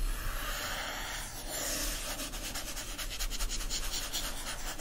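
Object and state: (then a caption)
Hardcover book cover. Fingertips and nails rub and scratch the front cover of a yellow foil-stamped hardcover book. A steady, soft, breathy friction hiss gives way after about two seconds to quicker, rhythmic scratching strokes with a bright, crisp texture over a faint low rumble.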